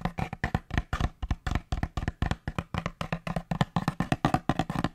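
Fingertips tap quickly along a long, hollow, empty brown cardboard paper towel tube held next to the microphone, first horizontally and then upright. About thirty short, dry, hollow knocks come in a fast, uneven stream of roughly four per second, each with a deep thump and a faint woody tone near 740 Hz that dies away almost at once.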